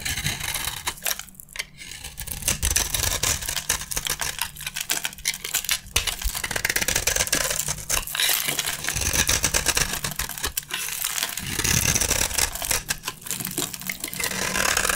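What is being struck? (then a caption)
Coated soap bar scraped by a metal blade. A metal utility blade scrapes the gold-painted surface off a dry, rectangular solid red bar of soap held in the hand, shaving away the coating and red flakes. The sound is a steady stream of rapid, bright, crisp scratching and crunching with short dry rasps, over a faint low hum.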